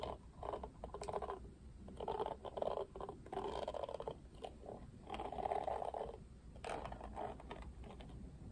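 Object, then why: Plastic paddle hairbrush bristles. Fingertips stroke and scratch through the plastic bristles of a plastic paddle hairbrush, making soft, dry rustling and scratchy passes. The bursts are bunched in the mid range around 600 Hz, with short clicky flicks and faint brief high ticks over a low steady hum.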